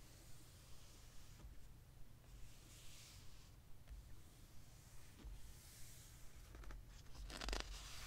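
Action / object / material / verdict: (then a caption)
scrape / hardcover book with glossy paper pages / glossy paper / none. Fingertips rest on, trace and rub across the glossy printed pages of a large hardcover history book lying open on one spread, with no page turned. Quiet, soft papery swishes and light brushing come and go over a steady low hum, with a louder, brighter rub near the end.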